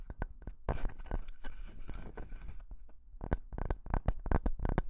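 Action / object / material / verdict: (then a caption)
scrape / wooden log slice / wood / none. Fingertips and nails rub and scratch a solid, round slice of wooden log about 15 cm across with visible growth rings. Short, dry scratches and crisp ticks are heard, with a denser stretch of continuous scraping and crackling in the middle. The sound is close and thumpy, and each stroke stops with almost no ring.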